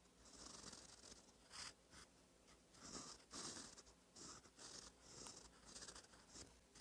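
A gold metal fountain pen nib, held by the fingertips, scratches over a thin cream lined paper sheet in a notebook while writing cursive. Soft, bright, papery scratching comes in quiet bursts of strokes, with short pauses between them.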